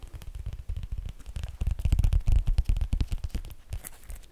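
Fingertips and nails tap and scratch the thick, glossy laminated cardboard cover of a small shaped Sesame Street board book, "Splish Splashy Day," held in the hands. A quick, irregular run of soft, low, muffled taps mixes with faint scratchy rustling, growing louder in the middle before easing off.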